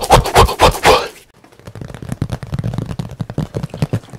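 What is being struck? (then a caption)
Painted canvas board. A flat rectangular painting board about A3 in size, with a painted forest scene, is held in both hands close to the mic and rapidly tapped and scratched with fingertips and nails. It opens with four loud, bright scratching strokes, then drops into a quieter, fast, uneven patter of soft low thuds and light clicks.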